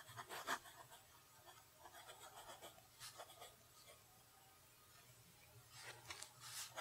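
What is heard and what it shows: A fountain pen held in the fingers writes cursive on a flat lined paper sheet, its nib making soft, bright scratching strokes. The scratches come in short clusters with a quiet pause in the middle, over a faint low hum.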